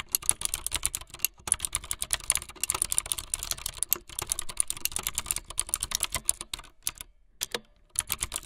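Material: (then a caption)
Plastic. Fingertips with long light-blue nails type fast on a full-size plastic mechanical keyboard with white, blue and yellow plastic keycaps and a blue backlit frame. A rapid stream of short, bright, clacky keystrokes, each dying away almost instantly, is broken by brief pauses, including a longer gap just before the last burst.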